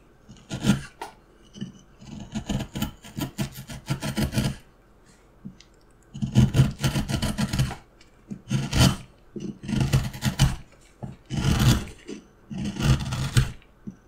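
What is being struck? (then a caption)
Wooden block under a steel carving knife. A steel carving knife held in the fingers cuts and scrapes the surface of a solid, light wooden carving block. Bursts of short, dry rasping strokes come in quick runs separated by quiet pauses, with a low, woody body and a faint bright scratch on each stroke.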